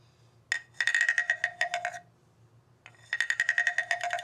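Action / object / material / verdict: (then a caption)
scrape / bamboo tube instrument with ridged slats / bamboo / none. A hollow bamboo tube with ridged slats, resting on carpet, is repeatedly tapped and scraped with a wooden stick mallet. Two quick runs of sharp, dry, woody clicks (22 in all, separated by a short pause) each carry a bright, hollow tone near 1.9 kHz over a lower note around 700 Hz. Each click dies away almost at once.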